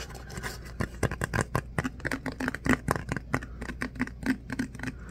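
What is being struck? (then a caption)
Ribbed paper cup. Fingernails scratch and rub the ripple-ribbed outer wall of a tan paper coffee cup that is hollow, appears empty and is held in the hands. A quick, uneven run of short, dry scratches and clicks follows, each with a bright crackle and a soft low body. Every stroke dies away almost instantly over a faint steady low hum.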